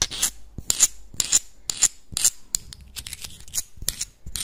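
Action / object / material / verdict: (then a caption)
scrape / small clam shells / shell / none. Small, hard, hollow clam shells held in both hands are rubbed and scraped against each other and scratched with the nails. The result is a run of short, bright, rasping strokes, almost entirely high-pitched hiss with a thin, whistling edge and no ring after each stroke.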